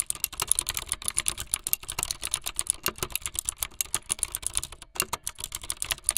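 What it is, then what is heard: Plastic mechanical keyboard being typed on. Fingertips with long light-blue nails type fast on a full-size plastic mechanical keyboard with white, blue and yellow plastic keycaps and a blue backlit frame. The result is a rapid, steady stream of sharp, bright plastic clicks and clacks with almost no ring between keystrokes and little low-end thump.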